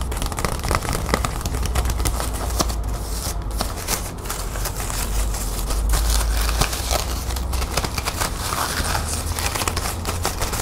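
A small, light green metallic plastic ribbon gift bow is held in both hands while long nails scratch and squeeze it. The result is a steady stream of dense, bright crinkling and crackling over a low rumble.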